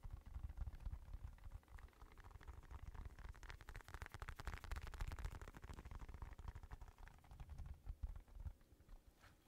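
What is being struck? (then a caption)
Padded synthetic leather boxing glove. Fingertips and nails tap and scratch the padded surface of an empty black Everlast synthetic leather boxing glove. The result is a quiet, low, muffled stream of rapid soft taps and scratchy rustles, with brief bright scratching peaking in the middle.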